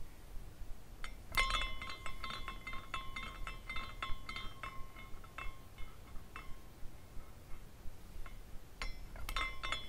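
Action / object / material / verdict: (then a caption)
shake / small glass carousel figurine with hanging glass pendants / glass / none. Fingers spin the top of a small glass carousel figurine, and its glass pendants clink against each other. Bright, irregular tinkles and chimes ring out in clusters over a quiet, low background hum.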